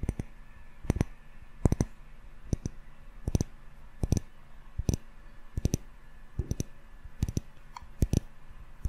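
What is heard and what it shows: A small glass jar candle filled with solid yellow wax and topped with a metal screw lid is held in both hands and tapped on its glass sides with fingertips and short nails. The taps come as short, dry clicks, often in quick pairs or small clusters, at an uneven pace. Each tap dies away almost instantly, with a dull, low-weighted body and a faint bright tick, over a quiet steady background hum.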